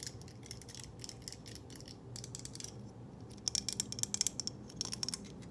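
A hand-sized purple plastic claw hair clip with hollow toothed jaws and a metal spring has its teeth tapped and flicked with long nails and is clicked open and shut. Rapid, dry, high-pitched plastic ticks and clicks run throughout, with louder, sharper clicks in the second half.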